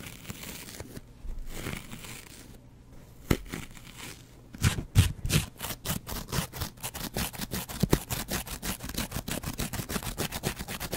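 A double-edge razor blade is scratched along the foam of a yellow and green kitchen sponge with a scouring pad. Soft, quiet rustling gives way about halfway through to a fast, fairly even run of short, dry, crisp scratch strokes with bright upper edges.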